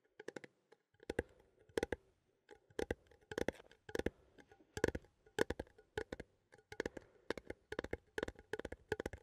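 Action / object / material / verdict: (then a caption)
tap / small metal coffee tin / tin / none. A small, hollow, cylindrical metal coffee tin with a printed label, held in both hands, is tapped and scratched with fingertips and nails. Quick bursts of light, hollow tinny taps with a mid-pitched ring that dies away almost instantly are separated by short pauses, with faint scratching between them.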